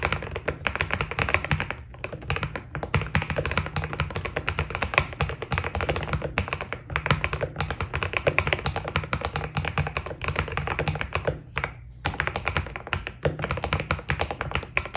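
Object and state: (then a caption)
Mechanical keyboard with PBT plastic keycaps. Fingertips of both hands type steadily on a white Keydous NJ80 mechanical keyboard with PBT plastic keycaps. A dense stream of short, crisp key taps with almost no ring sits over a steady low rumble, broken only by brief pauses near 2 and 12 seconds.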